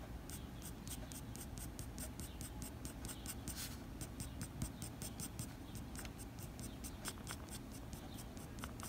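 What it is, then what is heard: Pencil scratching on drawing paper. The graphite tip of a blue mechanical pencil, held in the fingers, scratches across a flat white drawing paper sheet in short fur strokes. Rapid, repeated bright scratchy strokes sit over a steady low rumble at a quiet, even level.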